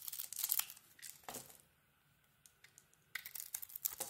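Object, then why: Glitter-coated bar soap scraped with a small metal blade. A small metal blade peels and scrapes the purple glitter coating off a solid, palm-sized bar of soap with a cream core, held in the hand. Bright, dry crackling and crinkling scrapes come in bursts, fade to near silence in the middle, then return louder toward the end.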